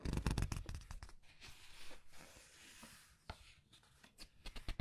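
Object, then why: Glossy paper pages of a large book. Glossy paper pages of a large art book are flipped and rubbed by fingers. A dense burst of quick, crisp crackles and flicks at the start gives way to a softer, steady swishing rub, then sharper page snaps return toward the end. The sound is quiet and close, with brief, dry flaps that fade almost instantly.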